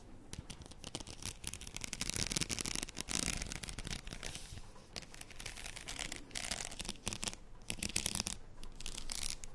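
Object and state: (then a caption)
Faux pearl beaded headband. A faux pearl padded headband is held in one hand while long nails on the other hand scratch along its plastic beads. The result is a steady run of dense, bright scratching and clicking with soft low rumble underneath, rising and falling in loudness.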